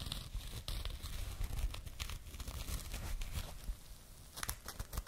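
A small, soft and hollow burlap jute pouch is scratched with long nails, giving a steady rough, crinkly scraping with low rumbling body. Brief bright bursts flick through it, especially near the end.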